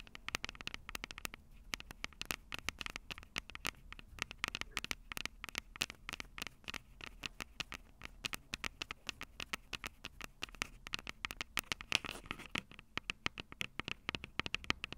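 Long purple nails tap rapidly on the silver metal mic capsules of a Tascam DR-05 handheld audio recorder. The result is a steady patter of quick, dry, bright clicks with almost no ring, centered around 2.5 kHz over a soft low rumble.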